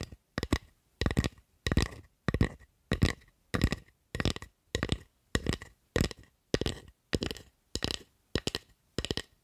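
Long acrylic nails tap and scratch along the blade and handle of a solid carved wooden spatula held close to the mic. The sound comes as a steady run of short, dry bursts of clicks and scrapes, each separated by brief silence. The bursts carry a deep body with a bright, crisp edge.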